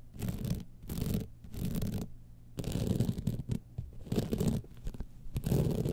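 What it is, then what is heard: Rhinestone-studded clutch bag being scratched. Long nails scratch quickly along the studded top panel of a gold rhinestone-studded evening clutch bag lying on its side. The result is a series of short, dense scratching bursts with brief pauses between them, dull and heavy in the low range with very little brightness.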